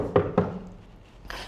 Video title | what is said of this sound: Live February 25 | When you hearing the sound, of course it's being loud. Why it's being loud like this? First of the thing, it spaces a lot inside.